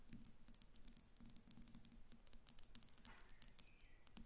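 Both hands tap the sides of a glass perfume bottle standing on paper on a glass table, using long acrylic nails. The result is a quiet, rapid, uneven patter of bright, sharp clicks that die away almost instantly, over a faint low hum.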